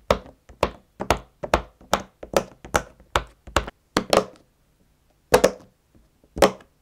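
A fingertip presses the hollow push-in bubbles of a round, hand-sized rainbow silicone pop-it fidget toy lying flat on a white table, popping them one by one and tapping them down onto the tabletop. A quick, steady run of short, dull pops with a bright click at each onset gives way to a few more spaced-out pops after a brief pause. Each pop dies away almost instantly.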